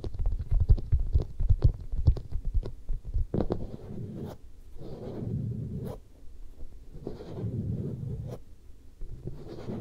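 Long manicured nails and fingertips of both hands scratch and rub across the side and cheek of a head-sized, hollow-looking soft vinyl mannequin head. Quick, dull scratching taps come first, then slower muffled rubbing strokes that swell and fade. The sound stays deep and thumpy, with almost no bright content.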